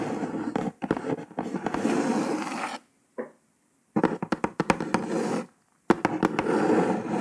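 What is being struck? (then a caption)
Kraft cardboard box top. Long nails tap and scratch across the printed surface of a brown kraft cardboard box top. Dry, papery scratching runs in bursts broken by short silences, punctuated by a series of sharp, quick taps that die away almost instantly.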